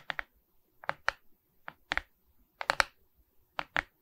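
Long red nails scratch and tap across a Mickey Mouse diamond painting of resin rhinestone beads on a wooden-framed canvas held upright. The result is about eleven short, dry, clicky scrapes, mostly in quick pairs, bright and midrange-focused with almost no low end and no ring.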